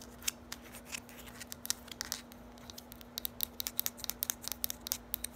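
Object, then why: Small hard plastic bottle. Long nails scratch and tap along the sides of a small, hollow, lime-green hard plastic bottle with a square cap. The result is a rapid run of sharp, bright clicks and short scratchy rasps that quicken toward the end. A faint, steady low hum sits underneath.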